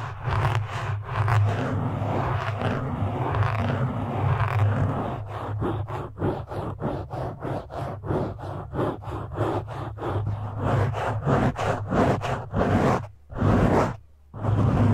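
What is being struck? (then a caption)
Foam microphone windscreen. Fingertips and nails of both hands scratch a black foam windscreen on a microphone, and it is briefly gripped and shifted. A dense, muffled scraping with a strong low rumble and rapid bursts of scratching fills the clip, with two short near-silent dips near the end.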